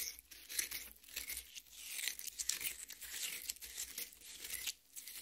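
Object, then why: Cut watermelon half. A large cut watermelon half rests on a metal plate, its red flesh already mashed, while long painted nails and the fingertips of both hands scratch and dig into it. The result is a run of bright, wet, crackly tearing and crinkling sounds with little low end, rising and falling in short bursts.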